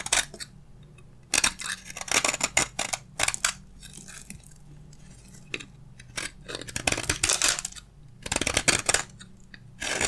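A black utility blade scrapes lengthwise along a solid, hand-sized bar of dry beige soap, peeling off crunchy curls. Bright, dry crunching scrapes come in short bursts separated by quiet pauses, over a faint low hum.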